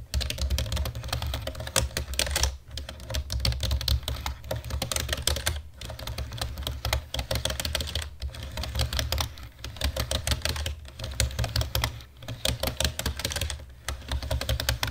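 Fingertips with short nails type fast on the keys of a black plastic computer keyboard, first with two hands and then with one. Dense, bright plastic clicks and clacks come in quick bursts, broken by brief pauses, over a steady low hum.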